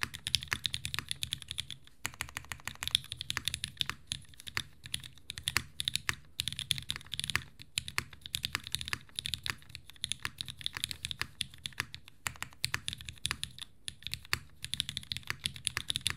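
A green aluminum-cased 60% mechanical keyboard, a Unikorn R2.1 with vintage MX Black switches and white and green ABS keycaps on a desk mat, is typed on continuously with both hands. Dense, steady tapping gives quick, dry clicks and clacks with a bright top and a soft low thump under each keystroke, running through the whole clip with brief pauses.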